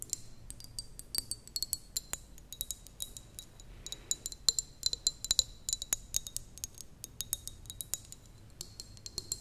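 Long nails tap a small, clear, apparently empty glass jar with a metal lid. The result is dozens of quick, bright clinks, each with a short high ring, in irregular bursts over a faint low hum.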